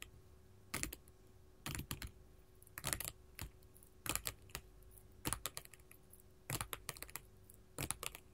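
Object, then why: Glass mosaic tile sheet tapped with metal finger claws. Long gold metal filigree finger claws tap a flat sheet of small colored glass mosaic tiles resting on a table. Quick clusters of sharp, bright clicking taps come in short bursts separated by brief pauses. Each tap ends almost instantly over a quiet background hum.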